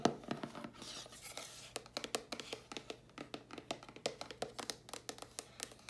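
A closed, hollow dark grey cardboard mailer box is held up and tapped on its sides and lid with long polished nails. Around thirty quick, dry taps follow one another with no ring, each a hollow, papery click with bright edges, over a faint scratchy rustle at the start.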